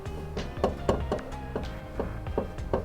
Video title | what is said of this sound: FIXING THE BUGEYE'S EXHAUST LEAK!! 💨 | that's what the exhaust is tapping on